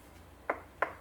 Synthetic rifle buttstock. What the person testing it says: so obviously the walls of the buttstock are much thicker